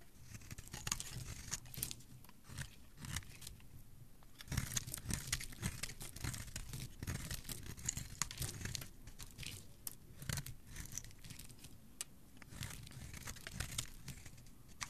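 A hand-sized, solid cream-white bar of soap is held in the hand and scraped and carved with a metal blade, shedding flaky shavings. Quick, crisp scraping strokes come in dense clusters, with crunchy, tearing bursts that flash bright and high over a soft low body. The strokes stop dead with no ring.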